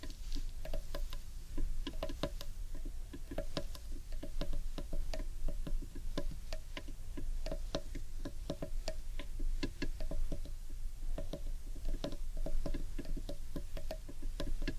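Fingertips and nails tap rapidly and irregularly on the underside of a large, hollow, carved wooden bowl, producing a steady stream of dry, woody clicks with a short hollow ring. A constant low hum runs beneath the tapping throughout.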